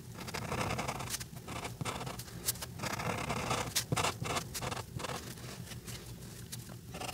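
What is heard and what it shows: The brush tip of a white alcohol marker rubs across a flat paper coloring page in quick strokes, filling in Santa's beard. Dense, dry scratching rasps steadily throughout, punctuated by brighter stroke peaks over a low soft rumble.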